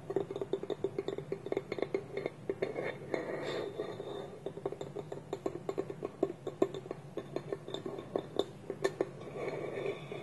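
Fingertips and nails tap along the side of a small, polished, hollow wooden bowl held on a table, while the other hand holds its wooden lid against it. A steady run of quick, hollow knocks rings briefly at a resonant pitch near 390 Hz, with faint bright clicks from the nails. Softer rubbing and scratching noise fills the gaps around the middle and near the end.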